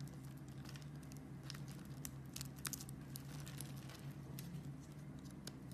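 A metal blade scrapes and shaves the scored surface of a solid pink bar of soap, making many quick, crisp, bright scratching and crackling sounds. Underneath runs a quiet, steady low hum, and the whole clip stays soft and even.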